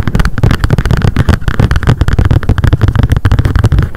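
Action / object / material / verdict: tap / spiral-bound paper notebook with card cover / paper / none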